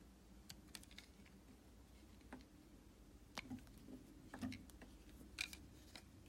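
A red utility knife's steel blade shaves thin slices off the edge and face of a solid, palm-sized oval white soap bar held in the hand. Quiet, irregular crisp scraping clicks and brief bright ticks come roughly once a second over a soft low background hum, each cut ending almost instantly.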